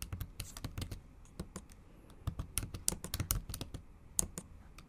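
Long acrylic nails type on the bare backlit keyboard of a MacBook Pro, tapping its plastic keys. A quick, uneven run of short, dry clicks sounds, each with a bright, high tick over a soft low thump. The taps die away almost instantly.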